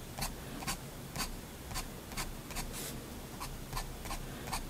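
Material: Paper.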